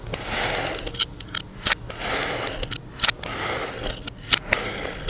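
A utility knife blade slices slabs off a solid, palm-sized mound of yellow kinetic sand, with a blue sand dome sitting untouched nearby. Long, bright, hissing scrapes run through the cuts, broken by sharp, crisp clicks and crackles as each slab comes away.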